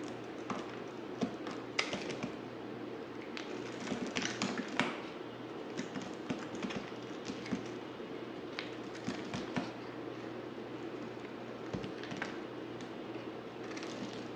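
A dry, solid, pale white-grey rectangular bar of white soap is held in the hand and shaved or scraped with a yellow utility knife blade. Quiet, crisp scraping and ticking cuts repeat across the clip, with brief bright flicks over a soft, steady low hum. Each stroke dies away almost at once.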